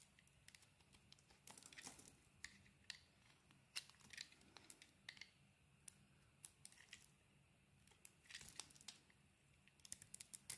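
A utility knife blade carves curls off a solid, hand-sized oval bar of cream soap with a dark blue-grey rim. Quiet, crisp scraping and shaving clicks come in short, bright bursts, some clustered into brief crumbly rasps, over a faint low steady hum. Each cut stops sharply with almost no ring.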